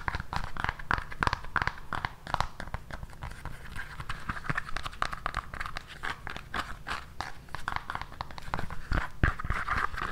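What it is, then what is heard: High-heel pump shoe with synthetic sole. Long nails scratch and tap the tan, hard synthetic sole and heel of an empty black high-heel pump held in the hand. The result is a quick, irregular run of sharp clicks and short scrapes with dull low thumps underneath.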